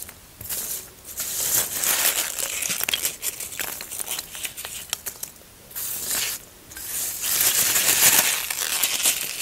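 Fingertips dig into, scratch and crumble the surface of a large, solid white expanded polystyrene (styrofoam) block that has already been carved and crumbled. The result is bright, dry crackling and squeaky crunching in dense bursts, separated by brief quieter pauses.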